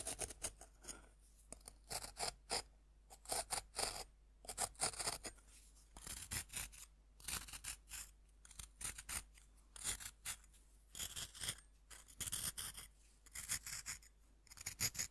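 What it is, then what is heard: Bath bomb scraped with a fork. A fist-sized pink bath bomb of compressed, crumbly powder is held in one hand over a round wooden board while the tines of a metal fork scrape its surface. Quick, irregular bursts of dry, bright scratching repeat throughout, each short and crisp with almost no ring. Powder sheds from the bath bomb with each scrape.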